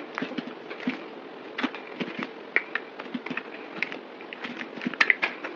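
A solid oval white bar of soap, held in the palm, is scraped and shaved with a yellow box cutter blade. A rapid series of short, crisp, bright scrapes and clicks follows, each cut dying away almost at once over a faint dry hiss.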